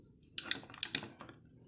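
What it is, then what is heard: Firmly fixed footswitch actuator. Several sharp, bright clicks come from the firmly fixed footswitch actuator on a Zoom pedal as it is handled, for comparison with the loose one beside it. The actuator is held tight, and it gives short, dry, high-pitched taps with almost no ring.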